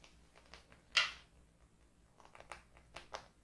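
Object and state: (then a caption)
Hardcover notebook with laminated cardboard cover. Long pink-painted nails of both hands tap and scratch the laminated cardboard cover of a closed, medium-size, floral-printed hardcover notebook with a solid stack of paper, lying on a wooden table. One sharp, bright click stands out near the start, followed by softer, crisp taps and scratchy ticks with very little low end and almost no ring.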